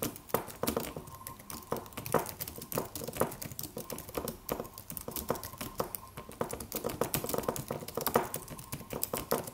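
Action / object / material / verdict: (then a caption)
tap / aluminum computer keyboard with plastic keys / plastic / none. Fingertips of both hands type on a slim silver aluminum computer keyboard with white plastic keys and a solid low-profile body. The result is a steady, dense patter of short, crisp clicks and taps. A faint steady tone hums underneath around 1 kHz.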